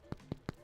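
Three quick, dull, low thunks as a bread loaf is tapped, each stopping almost instantly with no ring. The loaf feels hollow and gives a nice thunk, a sign it is baked through.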